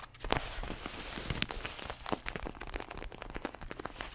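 Fingertips tap a red padded leather boxing glove held close to the mic, making a quick, uneven run of soft, dull taps. Each tap has a muffled low thump and a dry, crackly leather texture with a faint bright edge, and dies away almost at once.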